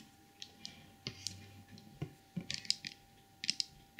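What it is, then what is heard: Porcelain trinket box tapped with fingernails. Long purple nails tap and scratch the glazed body and head of a small glossy white porcelain elephant trinket box. About ten sharp, bright clicks stand out, each dying away almost at once, with soft scratchy rustling between them.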